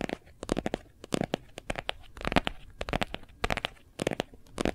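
Fingernails and fingertips of both hands tap quickly on the back of a hard plastic phone case with a gold foil print. About twenty short, dry, clicky taps come in uneven bursts, some bright and crackly, each dying out almost instantly with no ring.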